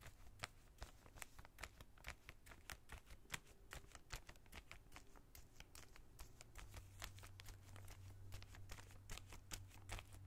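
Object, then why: Plastic zip bag holding plastic collar stays. A small, clear plastic zip-lock bag holding white plastic collar stays lies flat on a towel and is scratched and brushed with the bristles of a small brush. The result is a quiet, irregular run of rapid, crisp crinkling scratches with bright, dry clicks that stop instantly, over a low, steady hum.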